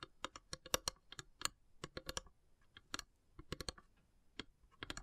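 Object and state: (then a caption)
Wooden incense box. Long grey nails tap along the carved, perforated lid of a long, narrow, hollow wooden incense box with brass elephant inlays. About twenty-two quick, dry, clicky taps come in uneven bursts with short pauses. Each has a bright attack over a faint hollow woody tone and dies almost instantly, all at a soft, close level.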